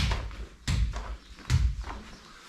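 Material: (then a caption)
Concrete. Knocks on a newly laid, still-drying concrete floor in a cave house renovation, tested by tapping instead of walking on it. There are dull, low thuds at about 0.7 s and 1.5 s after an opening knock, with almost no ring. The floor sounds solid, but the drying concrete is given another day before a test walk.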